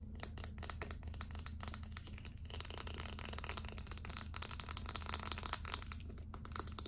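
Long acrylic nails tap and scratch a small, hollow, light-blue plastic deodorant stick with its cap on. The result is a dense stream of quick, bright clicks and scratchy, crinkly textures over a steady low hum. The level stays fairly even throughout, with a few sharper taps standing out.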